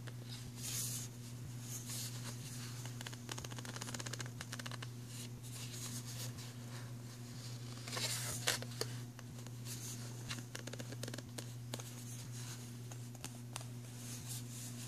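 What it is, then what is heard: Plastic pencil tray. Fingertips and short nails tap and scratch along the ribbed slots and rim of an empty, hollow, thin-walled black moulded plastic pencil tray with an embossed logo. Dense, quiet plastic clicks and scratches run over a steady low hum. Brighter rasping bursts rise near the start and again around eight seconds.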